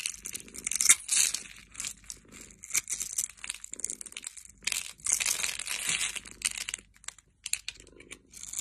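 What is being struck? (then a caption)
Bar of soap. A solid oval bar of teal soap is held in the hand while a metal blade scrapes and cuts its scored surface, dropping small cubes. Dry, bright scraping and crisp crunching come in quick bursts with short pauses between them.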